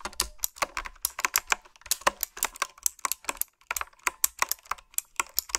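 Fingertips and long nails type on a retro-style, typewriter-style mechanical keyboard with round plastic keycaps. The result is a steady stream of sharp, bright clicks with very short decay and almost no low end.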